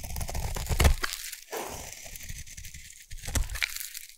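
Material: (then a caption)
Soap. A metal blade shaves a solid blue bar of soap, producing a dense, crunchy scraping with a heavy low rumble and bright crackling on top. The shaving comes in long strokes separated by brief near-silent breaks around the one-and-a-half and three-second marks, with the sharpest crunches near the start and end.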